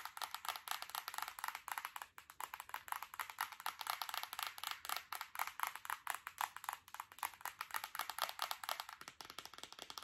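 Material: Glass.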